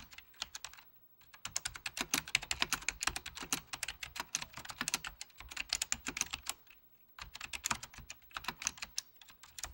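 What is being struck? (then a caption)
Plastic mechanical computer keyboard. Fingertips of both hands press and tap the mechanical key switches of a full-size beige plastic Apple Extended Keyboard II in steady bursts of typing. The clicks are sharp, bright and clacky, with very short decay, broken by brief pauses near 1 and 7 seconds. There is no talking.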